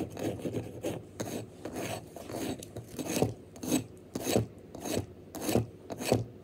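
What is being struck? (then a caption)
Wax pillar candle. Fingernails scratch quickly and aggressively at a tall, solid pink wax pillar candle held upright, its surface already marked with visible scratches. The sound is a series of dry, rasping strokes in an uneven rhythm, mostly low and midrange in body with brief bright streaks at each hard swipe.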